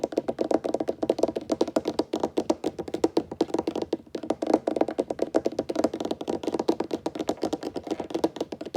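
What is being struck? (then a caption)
Wooden table. Fingertips tap rapidly on a wooden table in a steady, unbroken stream of short, dry knocks. Each tap dies away almost instantly, giving a mid-pitched, woody patter with little deep or bright tone.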